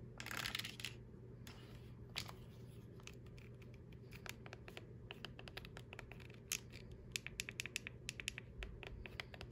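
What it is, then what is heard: Plastic TV remote control. Long acrylic nails tap and scratch across the body and rubber buttons of a hollow, hand-sized black plastic LG TV remote, first as it lies on a tablet case and then as it is held in the hand. A brief burst of bright scratching opens the clip, followed by a quick run of sharp, dry plastic clicks that stop instantly. A steady low hum runs underneath throughout.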